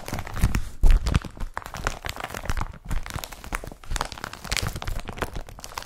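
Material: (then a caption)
Polypropylene. Fingertips slide and rub across the woven surface of an empty blue woven polypropylene IKEA BRATTBY carrier bag laid flat. The result is a continuous dry crinkling and scratchy rustle with low, soft thumps underneath and brief brighter swishes as the fingers drag across the weave.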